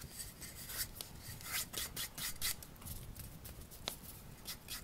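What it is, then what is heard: Wooden bowl. Fingertips rub and scratch around the outer surface of a small, hollow, empty turned wooden bowl held in both hands. Soft, dry scraping and rasping sounds come in short, uneven strokes with bright, airy edges over a faint low rumble, and one sharper tick stands out near the end.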